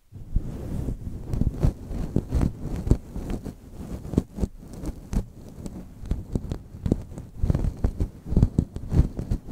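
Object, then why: Faux fur microphone windscreen. A grey-white, fluffy faux fur windscreen covering the whole microphone head is rubbed and scratched by both hands with long manicured nails and fingertips, with rings on the fingers. The result is a stream of muffled, deep rumbling scrapes and soft thumping brushes in an irregular rhythm, with almost nothing in the high range.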